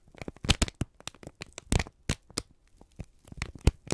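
A thin, wrinkled strip of brown kraft paper is squeezed and crinkled in both hands, with the thumbs pressing into it. The result is a rapid series of dry, sharp crackles and crisp snaps, each stopping almost instantly. Some snaps carry a dull low thump, and the crinkling runs unevenly in bursts with brief quiet gaps.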